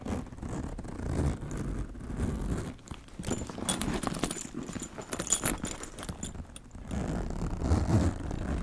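A brush and fingertips stroke a black leather handbag with a gold chain strap, making a steady low rubbing and scraping texture. Around the middle of the clip, bright metallic jangles from the chain cut through before the soft brushing returns.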